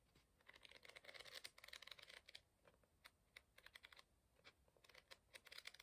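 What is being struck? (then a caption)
Paper book pages. A curled stack of paper pages in an open book is riffled with the fingertips, producing quick bursts of rapid, crisp flapping. The dry, bright fluttering comes in several clustered runs with brief pauses between them and almost no low end.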